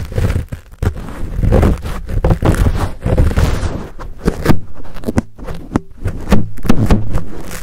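Fingertips scratch and rub the fuzzy black foam windscreen on a Blue Yeti microphone, close up. The result is a dense, bassy rustling and scraping with muffled thumps, then a run of sharper, separated taps and brushes toward the end.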